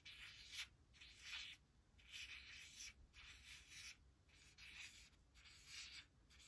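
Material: Laminated card.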